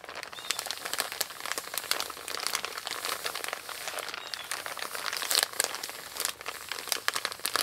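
Long pink-painted nails scratch and rub the surface of a flat, empty, envelope-sized brown kraft paper Amazon padded mailer lying on a wooden table. The result is a steady stream of dense, dry paper crinkles and crackles, bright and high with almost no low end. A few sharper, louder scratches stand out from the near-continuous rustle.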